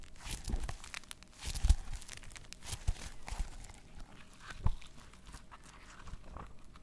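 Long nails scratch across the plastic sequin cover of a small sequin notebook and rub along its white page edge. The result is a dense run of crinkly, scratchy rasps and bright clicking ticks, with a few louder scrapes and soft low thumps near the start and middle.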